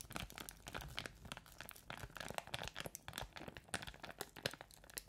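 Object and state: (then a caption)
Crinkly plastic bag. A small, empty, thin transparent plastic crinkly bag is held close to the microphone and crumpled and rubbed with the fingers of both hands. A continuous stream of dense, bright crackles and crinkles rises and falls in quick, sharp bursts with almost no ring.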